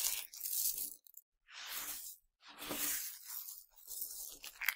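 Cupped hands with dark nails squeeze and grind handfuls of tiny hard Nerds candies from a pile, then pour them back onto it. Several dense bursts of bright, gritty crunching and rattling are broken by brief silences, with a sharp crackle near the end.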